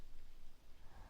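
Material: Nothing is struck.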